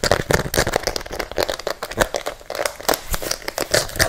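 A single pink and white rubber-soled fabric sneaker, hollow and empty, is held by hand close to the microphone with its sole facing out while fingertips and nails tap and scratch fast on the rubber sole. The result is a dense, rapid stream of short, dry taps and crinkly scratches, centered in the midrange with some bright edges.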